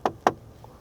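Two sharp knocks on the wood-look interior trim panel of a Mercedes S350d. The knocks are short, hollow and high-pitched, with almost no ring, and sound like plastic rather than wood, a disappointing choice of material.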